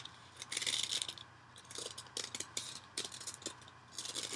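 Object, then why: Cellulose kitchen sponge. A yellow cellulose kitchen sponge held over a bowl is scratched with fingernails and squeezed or bent by hand, possibly with some ripping mixed in. Soft, bright, crackly scratching comes in uneven bursts with quick pauses between, with almost nothing in the low end.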